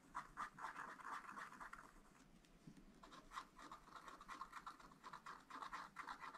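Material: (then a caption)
Coated paper. A wooden stylus scratches blossoms into a black, wax-coated scratch-art page in a small spiral-bound pad of thin, flat paper. Quick, uneven strokes make dry, raspy scratching with a midrange scrape and a bright hiss on top. The strokes come in bursts, with a quieter stretch of lighter scratching in the middle before the busy scratching picks up again.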